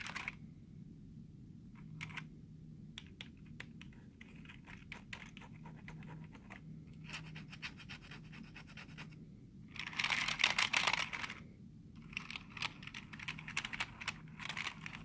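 Short fingernails and fingertips scratch and tap the keys and space bar of a black plastic computer keyboard. Quick, bright plastic clicks and taps are broken up by dry, scratchy strokes, with a louder, denser burst of scratching partway through over a low steady hum.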